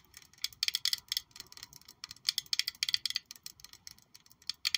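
A palm-sized, hollow, black glossy glass perfume bottle shaped like a high-heel shoe with a gold heel is held in one hand and tapped all over with long pointed acrylic nails. Quick, bright clicks come in uneven bursts, each dying away almost instantly, with faint hiss between them.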